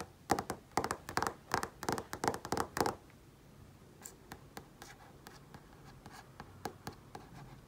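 Fingertips tap and trace across the surface of a large flat-panel TV screen. A quick, uneven run of sharp, bright taps with a midrange tone around 800 Hz fills the first three seconds, then gives way to quieter, lighter taps and faint scratchy tracing.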